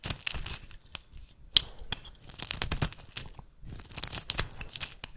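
A metal blade shaves curling flakes off the end of a solid, oval, rancid brown bar of soap held in the hand. The result is a run of dry, crisp scraping and tearing crackles, mostly bright with little low end, each stroke dying away almost at once, with brief quiet gaps between passes.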